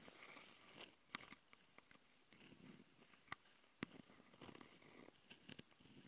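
Long nails of both hands scratch the mic capsule housings of a handheld plastic Tascam audio recorder. Quiet, close rasping scrapes fill the clip, broken by several sharp clicks and taps that die away almost instantly. The sound is soft and bright, with little low end.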